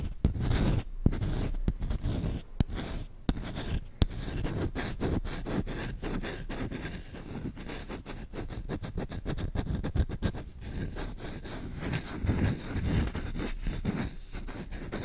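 Short-nailed fingertips scratch fast and hard across the bowl of a solid wooden spoon held up in the air. The result is a dense, continuous run of dry, rapid scratches, heavy in the low end with little brightness. Each stroke stops almost instantly, with no ringing after it.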